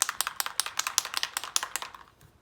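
A white Dina Wakley Media Gloss spray bottle is shaken hard, and the mixing ball rattles inside with a quick run of sharp, bright clicks as the paint is mixed. The clicking fades out near the end.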